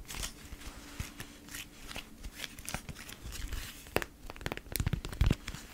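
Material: Waxed cotton.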